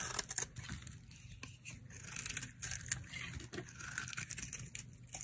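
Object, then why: Soap bar. A solid, dry white soap bar with a blue pattern is held in the hand while slices are carved off it with a utility knife blade. The cutting makes crisp, bright scraping and shaving sounds, with quick crackly bursts and a faint low rumble underneath.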